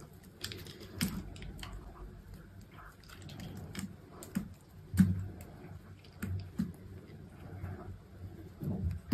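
A small metal knife with an orange handle slices the remaining piece of a solid green soap bar, held in the fingers, into thin strips and cubes, with soap debris falling onto a mat. Soft, dull cuts and crunchy taps come at an irregular pace over a quiet, low-heavy background, each one short with almost no ring.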